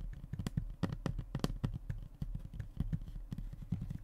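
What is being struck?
Hardboard fiberboard panel.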